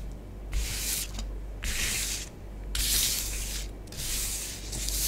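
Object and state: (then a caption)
Bath bomb powder scratched on a tabletop. Long fingernails on both hands scratch and trace swirls through orange bath bomb powder spread on a tabletop. Bright, hissy scraping comes in bursts separated by brief quieter pauses, over a steady low hum.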